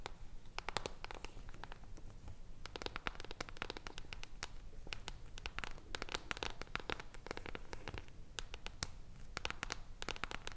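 Long acrylic nails tap and scratch both sides of an upright hardcover book with a silver, mirror-like foil cover over solid cardboard. Rapid, dry clicking taps mix with crackly scratching, each bright, sharp transient dying out almost instantly over a steady low rumble.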